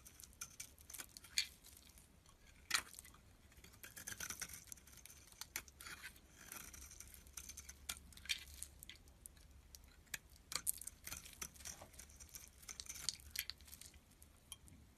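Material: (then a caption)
Soap. A metal blade scrapes thin, crumbly shavings off a solid yellow bar of soap held in the hand. The sound is a quiet, bright, crackly scratching made of many short, sharp strokes with a faint low hum underneath.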